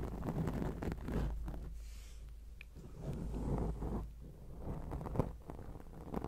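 Long acrylic nails scratch a round grey foam windscreen on a microphone, making a dense, uneven scratching and rubbing that comes through mostly as a low, muffled rumble. The scratches come in quick, irregular strokes that swell and fade, with a few brief sharper scrapes near the end.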